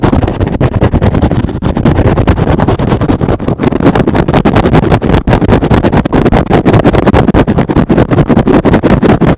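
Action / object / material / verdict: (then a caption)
scrape / synthetic foam sponge / foam / none. A soft, porous, hand-sized rectangular green and blue synthetic foam sponge is held in one hand and aggressively scratched with fingertips and short nails. The result is a fast, dense stream of rough, muffled scratching strokes, heavy in the low end with little brightness, that continues steadily for the whole clip.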